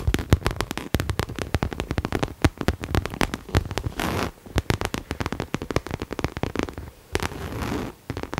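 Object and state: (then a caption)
Coated canvas bag tapped and scratched with nails. Long nails tap and scratch a hollow pink cherry-print coated canvas Coach crossbody bag held in both hands. Rapid, dry, clicky taps carry a dull, low body and die away almost instantly. Two brief stretches of steady, hissy scratching break up the tapping.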